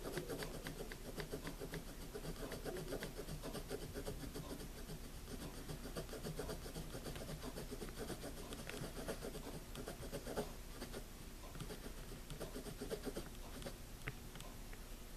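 A pencil writes slowly in a paper spiral notebook, its graphite tip scratching lightly across the page. The sound is a quiet, steady, soft scratching with faint rubbing strokes and a few slightly sharper ticks throughout.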